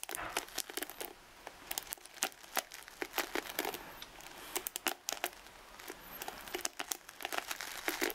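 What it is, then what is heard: Paddle hairbrush bristles scratched and flicked. Long red nails scratch and flick the dense ball-tipped nylon and boar bristles of a wooden paddle hairbrush held up close. Many quick, crisp, crinkly ticks and scratches come in irregular bursts, bright and dry with almost no low end.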